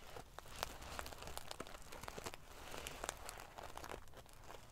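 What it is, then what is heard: Metal sequin pillow. Long painted fingernails scratch and ruffle the rows of small silver metal sequins sewn onto the fabric of a large decorative pillow. The result is a steady, crinkly rustle full of quick, bright clicks and ticks over a soft low rumble.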